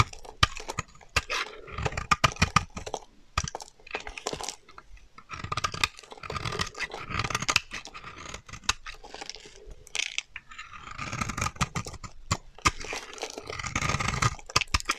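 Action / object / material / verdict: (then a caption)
scrape / bar of soap scraped with a metal blade / soap / none. A solid, dry beige bar of soap held in the hand is scraped and shaved with a metal utility knife blade. Bursts of crisp, crunchy scraping with bright crackle and soft low thumps come in quick succession, separated by brief quieter pauses. Each stroke is dry and short, with almost no ring after it.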